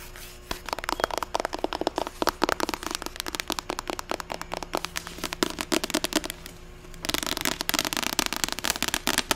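Long acrylic nails tap fast on the cover and spine of a medium, closed, solid paperback novel with a white cover (41 Ways to Die). The result is a dense run of sharp, bright, dry clicks with very short ring. The tapping grows quicker and busier toward the end.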